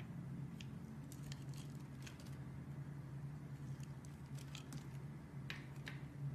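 A metal utility knife blade scrapes and carves the scored surface of a hand-sized solid pink bar soap held in the hand, breaking it into small crumbles. Short, bright, crisp scratches and crackles flick in and out over a quiet, steady low hum throughout.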